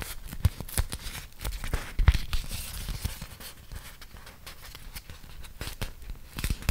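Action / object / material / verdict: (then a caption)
scrape / beeswax-coated cotton food wrap / waxed cotton / none. A thin, flexible printed beeswax-coated cotton food wrap, about 25 cm, is held in both hands while fingertips with dark-painted nails peel apart its sticky folds and crinkle the waxed fabric. Quick, irregular tacky peeling crackles and crisp crinkles come in short bursts with a soft low rumble beneath, louder at the start and near the end, with a quieter stretch in the middle.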